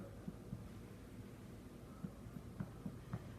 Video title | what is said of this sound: Making Apple Challah with Jamie Wynn-Bell! | that is a hollow sounding challah i can now assume that these are done and ready to be eaten